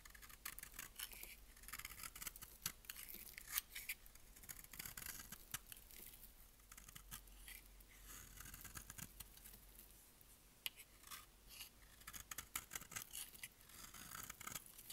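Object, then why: Bar of soap shaved with a blade. A utility blade shaves and scrapes green flakes off a hand-sized, solid, dry green bar of soap held in the hand. Quiet, bright, crisp scraping and rasping runs throughout, with sharp, short crackling clicks where the blade bites into the dry soap.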